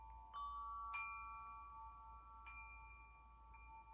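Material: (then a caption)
Metal. A metal tube wind chime with long hollow metal tubes is held up by its top ring and struck and shaken by the other hand, so the tubes ring against the clapper. Bright, sustained metallic tones sound at irregular intervals, with a main pitch near 2.4 kHz and higher overtones. Each strike rings on for about two seconds over a low, steady background rumble.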